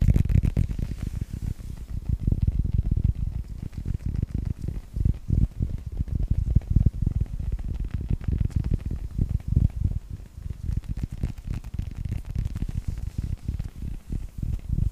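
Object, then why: Hollow rubber toy ball. A hand-sized, hollow yellow rubber toy ball in a Pixar style, with a red star and a blue stripe, is held in both hands and tapped and scratched with the fingertips and short nails. Dense, soft, low thumps and rubbing come in quick bursts and lie almost entirely in the low range. Each tap dies away almost at once.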